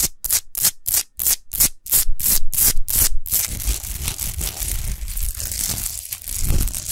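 Long nails scratch fast over a tall, rough-textured, unlit natural Himalayan rock salt lamp of solid salt. Quick, bright, rasping strokes come in rapid bursts, then merge into continuous gritty scratching over a low rumble.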